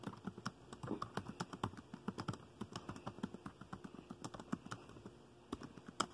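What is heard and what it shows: Fingertips type quickly on a dark plastic laptop keyboard, producing a rapid, uneven stream of short, dry key taps. The clicks are mostly low and soft with brief bright edges and almost no ring, and a few slightly louder taps punctuate the flow near the end.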